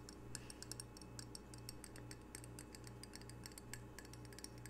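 A small, solid square ceramic tile coaster with red octopus art is held in the hands while fingernails tap its glazed face and edges. The result is a quick, irregular run of light, bright clicks over a steady low hum.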